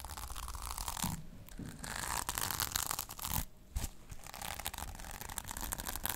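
A small rectangular notebook covered in pink and silver reversible plastic sequins is held in hand while long painted nails scratch and brush the sequins back and forth. The result is a dense, crackly rustling with bright, sharp clicks over a low rumble, broken by two brief quieter pauses.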